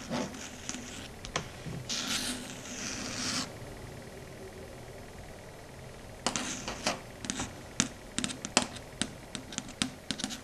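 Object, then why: Chalkboard surface tapped with fingernails. Very long, pointed red acrylic stiletto nails scratch and scrape across a flat, dark grey matte chalkboard for the first few seconds, with a bright, hissy rub partway through. After a brief quiet pause, the nails tap and click on the solid board in a quick series of sharp, bright ticks.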